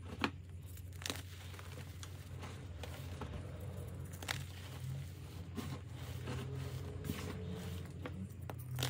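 Bare hands squeeze, crush and rub a pile of loose pink gym chalk powder and broken chunks from reformed chalk pieces, while molded chalk shapes sit untouched nearby. Soft, steady crunching and crumbling fills the clip over a low, heavy undertone, with occasional sharp, bright crackles as solid bits snap. The crumbly chalk falls apart into powder.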